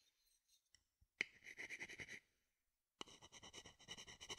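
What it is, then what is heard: Wooden bowl, scraped. A small, hollow, empty, dark-brown wooden bowl held near a binaural microphone is scratched and rubbed with a wooden spoon or stick. Quick rhythmic rasping strokes with a bright, hissy edge begin with a sharp click, stop while the spoon is briefly lifted away, then resume.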